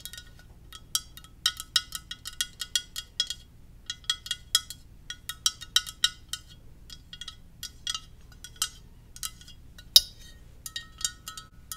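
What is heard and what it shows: Gentle tapping on a ceramic Darth Vader mug produces a steady run of short, bright clinks with almost no ring. Each tap rings with the same high pitched tones, varying only slightly in strength. One sharper tap stands out near the end.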